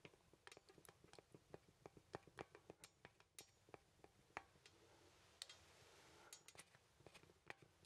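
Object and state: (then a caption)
Wooden artist mannequin, joints clicking. A small solid-wood artist's mannequin with jointed limbs is handled with the fingertips as its joints are moved, producing a quick, uneven series of dry, sharp wooden clicks and ticks with almost no ring. Midway, the clicks thin out into a soft, bright rubbing hiss before the ticking picks up again, all at a quiet, close level.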